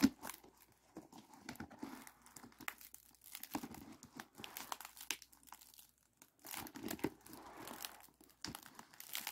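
A hollow, ribbed aluminum foil flexible duct for a ventilation hood is held in both hands and squeezed, making soft, dense crinkling and crackling with bright, papery edges. The quiet foil crackle keeps going in irregular bursts with brief lulls, the texture sitting mostly in the low mids with little deep bass.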